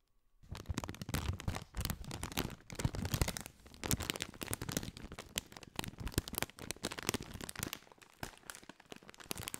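A partly filled, foil-lined plastic Doritos bag is crinkled and scratched with fingertips close over a microphone. After a brief quiet start, it produces dense, continuous crackling and crunching in uneven bursts, bright at the top with a strong low-end rumble from the handling.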